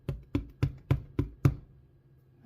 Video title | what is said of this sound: Making Danish White Bread - Start to Finish | if it sounds Hollow which it does then it's done